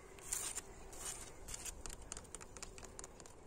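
Fingertips and nails of one hand tap and scratch across the faces of an old, weathered red brick wall with white mortar, solid masonry on an old abandoned house. The result is a quiet run of short, dry, bright scratchy taps and gritty scrapes, each dying away almost at once, over a faint low rumble.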